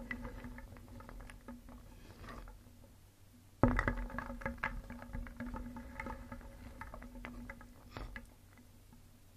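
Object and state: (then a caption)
Wooden pieces clattering in a wooden bowl. Small painted solid wooden cones, eggs and discs are stirred with a wooden spoon in a round wooden bowl, clacking against each other and the bowl. A steady clatter of many pieces runs throughout, with a louder burst of knocks near the middle before settling back into soft, continuous clicking.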